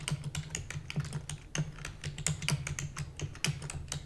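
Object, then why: Plastic computer keyboard. A full-size black plastic computer keyboard with hollow keys is typed on rapidly with long nails and the fingertips of both hands. The result is a fast, uneven stream of sharp, bright clacks that die away almost instantly, over a steady low hum.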